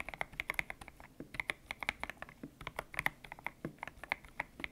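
Fingertips type on a white-cased mechanical keyboard with grey and pink PBT plastic keycaps, its hollow case resting on a desk mat. About 26 quick, bright, clacky keystrokes land in an uneven rhythm, each one sharp and dying away almost instantly, with a crisp tone near 2 kHz.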